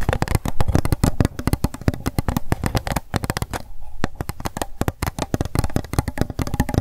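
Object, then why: Plastic cup. Long acrylic nails rapidly tap and scratch an empty pink plastic cup held sideways in the hands. The result is a dense, fast stream of short, dry clicks with a hollow low body and scratchy brushing between them, with a brief lull near the middle.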